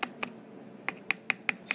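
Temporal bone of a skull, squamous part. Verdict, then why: Thin. Seven light taps on the squamous part of a skull's temporal bone, which is quite thin, for comparison with the dense petrous part. Each tap is a short, dry, high-pitched click centered near 2.5 kHz. The clicks have almost no ring or low-end body.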